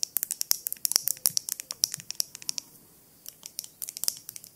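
A small clear glass jar with a lid, held in both hands, is tapped and scratched with long nails on the glass. Around thirty quick, sharp, bright clicks patter in bursts with very little low end, pausing briefly near the three-second mark before resuming.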